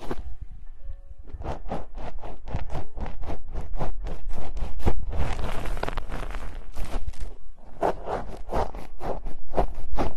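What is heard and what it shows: Long decorated nails scratch and tap the bare, hollow metal mesh grilles of a pair of microphones with both hands. Quick rhythmic scratching strokes, about two per second, carry over a heavy low rumble, with a denser continuous scraping stretch in the middle before the strokes resume.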